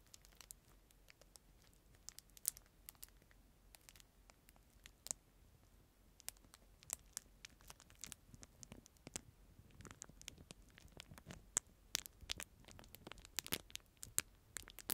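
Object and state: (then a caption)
Plastic-wrapped disposable spoon. A clear disposable plastic spoon inside a crinkly clear plastic film wrapper is crinkled and rubbed between the fingers, moving from beside the mic to in front of it. Quiet, bright, dry crackles and sharp snaps sit over a faint rustle, with the crinkling growing denser and louder in the second half.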